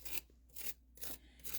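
Four short, bright, raspy crunches come from scraping or tapping the crumb crust of freshly fried mac and cheese balls, possibly fried a bit too long, over a faint steady low hum. The dry, crackly scrapes show how crispy the crust is, and the balls look good inside once cut open.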